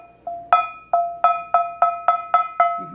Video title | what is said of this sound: Final Results Are In #6 Wagner ~ #7 Wagner ~ #8 Griswold! | it rings as clear as a bell